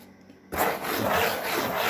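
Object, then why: Corrugated cardboard sheet. Long fingernails scratch across a large, flat, brown corrugated cardboard sheet. After half a second of near silence, a dry, rasping scrape starts abruptly and carries on steadily to the end, rough and broadband with a bright edge and gentle swells as the nails move.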